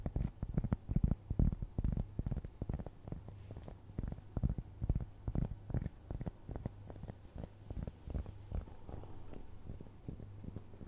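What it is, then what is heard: Cork trivet scratched with fingernails. Long nails scratch across the surface of a round, flat, solid cork trivet. The result is a dense, irregular run of soft, muffled, low-pitched scratches and thuds over a steady low hum, with almost no bright or high sound.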